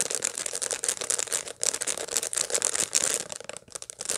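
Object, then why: Dried sunflower head with seeds. A dried sunflower head with its seeds still in place is held in both hands and scratched over the seed surface with long light-blue nails. The result is a continuous, bright, dry scratching and crackling with rapid short clicks, mostly high-pitched with no low end.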